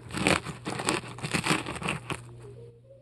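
A metal melon-baller scrapes and carves foam out of a large polystyrene foam ball, producing a quick series of loud, bright, crunchy scraping bursts. A steady low hum runs underneath, and the crunching stops near the end, leaving only faint tonal sounds.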